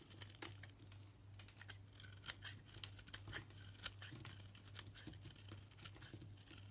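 A knife blade shaves and scrapes curls off a solid pale yellow soap bar with a green edge. It makes rapid, dry, crinkly scraping and bright ticking cuts over a steady low hum.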